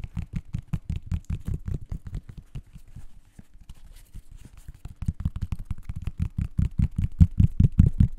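Fingertips scratch and tap the synthetic mesh upper and the rubber/foam sole of a blue and white laced athletic sneaker, hollow inside and held up close to the mic. A rapid, fairly steady run of dull, low thumps with soft scratchy texture eases quieter through the middle, then grows louder and punchier toward the end.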